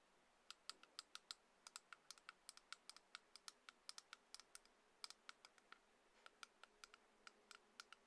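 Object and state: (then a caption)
Small plastic headphone adapter. A small, solid white plastic Lightning headphone adapter, a few centimetres long, is held between the fingers and tapped and clicked with long nails. About 40 quick, sharp, bright clicks land in an uneven rhythm, each dry and stopping almost at once. The tapping stays quiet and high, with almost no low end.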